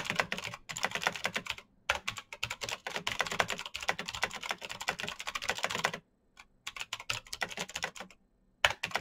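Fast fingertip typing on a black Razer BlackWidow mechanical keyboard with plastic keycaps on clicky green switches produces dense bursts of sharp, bright clicks. The bursts are broken by brief pauses near 1.8, 6 and 8.3 seconds. Each click is crisp and dies away almost at once.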